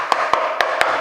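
Four sharp taps along a timber door jamb and its side ring briefly with a bright, solid knock around 1 kHz rather than a hollow, drummy tone. The check finds the jamb solid with no sign of termite damage, though it is only a tap test and the timber is not opened.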